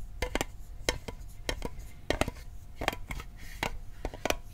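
Fingertips tap the lid and sides of a small, hollow, rectangular metal Altoids mint tin held in the hand. A quick, uneven series of dry, clicky taps, some in close pairs, each with a brief hollow metallic ping that dies almost instantly. A faint low rumble sits underneath.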